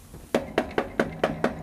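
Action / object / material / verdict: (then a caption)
knock / plastic shelf / plastic / resonant. Six hollow knocks on a cheap plastic shelf, each leaving a brief ringing tone around 230 Hz. The shelf resonates, which makes it a very bad surface to mount a speaker on.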